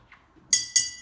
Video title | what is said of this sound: Intro To Sound | When I tap, what's vibrating here is not only the bottle, but also the water.